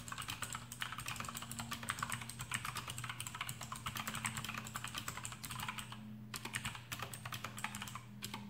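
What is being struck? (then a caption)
Plastic mechanical keyboard with clicky switches and rubber O-rings. Fingertips of both hands type rapidly on a full-size black plastic AUKEY KM-G6 mechanical keyboard with RGB backlight and Outemu blue switches fitted with rubber O-rings, resting on a desk mat. A dense, steady stream of short, bright clicky keystrokes plays over a faint, constant low hum, with brief pauses near the end.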